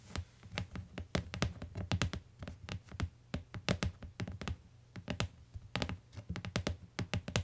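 Long nails tap the lower edge of a closed tan hardcover book with a cardboard cover lying on a fur rug, then fingertips tap the cover. The result is a quick, irregular run of short, dry taps, each a low, hollow thump with a bright click on top that dies away almost at once.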